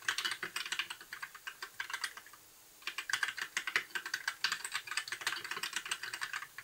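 A compact white mechanical keyboard with plastic keycaps, blue backlight and a hollow case is typed on continuously with the fingertips of both hands. Quick, bright, clicky key taps rattle along with only a brief pause just before the middle. Each tap dies away almost instantly, leaving a hollow, plasticky clatter.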